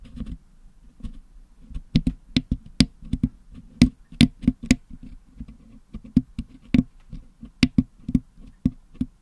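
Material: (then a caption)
Metal mesh. A wooden toothpick scratches and picks blue, yellow and green putty out of the hollow metal mesh dome grille of a Blue Yeti microphone. Low, muffled scraping runs underneath a series of short, dry clicks and taps, some reaching bright highs. The taps die away almost instantly.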